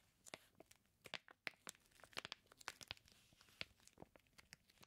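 A flat hand rubs and scratches its fingertips across a flat package of raw bacon slices sealed in clear plastic. The result is quiet, bright crinkling and sharp, dry scratching ticks in a quick, irregular series, with almost no low end.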